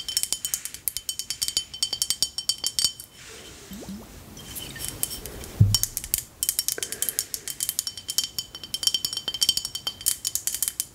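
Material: Glass.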